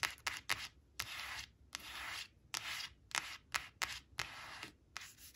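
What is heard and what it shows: Long acrylic nails quickly scratch and rub across the glossy face of a thin, flat laminated cardboard flash card showing balloons, resting on a woven cloth. The result is a series of bright, crisp scratches and short, hissy rubbing strokes with almost no low end and no ringing between them.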